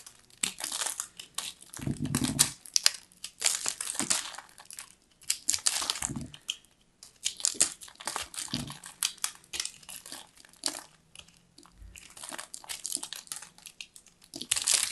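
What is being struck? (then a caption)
Pressed shredded soap ball. A knife blade cuts and scrapes into a solid purple pressed ball of lilac shredded soap, crumbling the shreds. Dense, bright crunching and crinkling comes in bursts, with a few dull low thumps as the blade presses in. Quiet gaps separate the waves of crackle.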